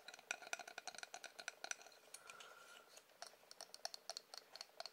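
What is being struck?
Small painted wooden figurine on a wooden stand.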